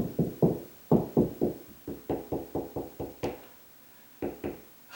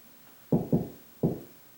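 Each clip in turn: First: solid drywall ceiling over a joist. Second: hollow drywall ceiling between joists.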